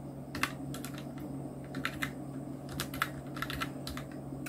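Fingertips of both hands type on a full-size black Nubwo Illution NK-70 mechanical keyboard with Outemu red switches, round plastic typewriter-style keycaps and blue backlight, resting on a white desk. Quick, short plastic key clacks with bright clicky tops arrive in an irregular typing rhythm over a steady low hum. Each keystroke dies away almost instantly.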